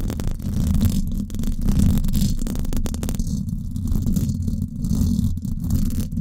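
Long acrylic nails scratch the hollow, silver woven-wire dome grille of a Blue Yeti microphone. The result is a steady, dense scraping and rustling that comes through as a deep, muffled rumble, with most of the energy low and little brightness. It keeps going without clear breaks.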